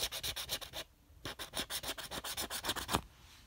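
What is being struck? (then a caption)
Paper scratch-off lottery ticket scraped with a coin. A copper coin held in the fingers scratches the latex coating off the number spots of a flat, thin red paper scratch-off lottery ticket with dollar symbols, resting on a fabric background. About 19 quick, bright, dry scratching strokes come in two runs, a short burst, a brief pause, then a longer steady series.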